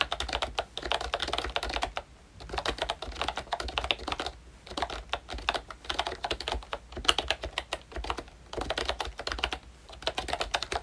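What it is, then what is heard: Plastic membrane keyboard. Fingertips of both hands type on a full-size pink ROYCHE Disney Mickey Mouse retro keyboard with a plastic case, round dark green plastic keycaps and membrane switches. Fast runs of short, bright, clacky plastic taps come in bursts, separated by brief pauses around 2, 4.5 and 8 seconds. Each tap dies away almost instantly, with no ringing.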